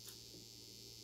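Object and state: Nothing is struck.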